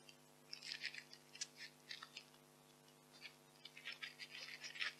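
White expanded polystyrene packing peanuts are crushed in fists and rubbed between fingers. The result is soft, bright squeaky crunches and crackles in short bursts. A steady low hum sits underneath.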